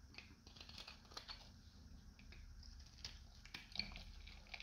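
A metal utility knife blade shaves a solid, hand-sized, dried green soap bar with a dark coating, held in one hand, peeling crunchy flakes onto a white surface. The result is quiet, irregular, bright crunchy scraping and crackling strokes over a low, steady rumble.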